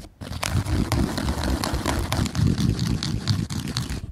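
A flat woven jute slipper with a fabric strap lies on a rug while fingertips and short nails scratch and rub its upper sole surface close to the microphone. The result is a dense run of dry, crunchy scratching and rustling with a heavy low-end rumble and brief bright crackling streaks. The sound starts after a short quiet moment and then continues steadily.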